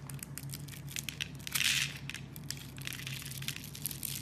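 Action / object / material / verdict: scrape / bar of soap carved with a metal blade / soap / none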